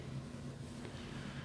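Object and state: Nothing is struck.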